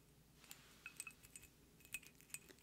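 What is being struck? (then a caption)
Glass perfume bottle. Long painted nails tap the faceted sides of a square pink glass perfume bottle with a metallic cap, held in both hands and apparently partly filled with liquid. About eleven quiet, bright clicks ring out, each dying away almost instantly, with high glassy pings.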